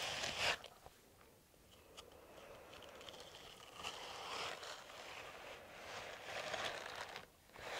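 A hollow, empty green silicone dishwashing glove with bristle nubs on the palm is held upright in one hand and rubbed and scratched with the fingertips of the other hand. The result is a soft, bright scratching and rustling that comes in uneven waves with almost no low end, with brief louder scrapes standing out against a quieter, continuous rub.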